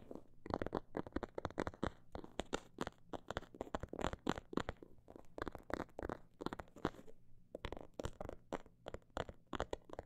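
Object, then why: Faux leather cosmetic bag. Long nails tap and scratch the surface of a small, filled faux-leather cosmetic bag with a snakeskin print. The result is a quiet run of many short, dry clicks and soft scrapes at a fast, irregular pace, each one dying away instantly.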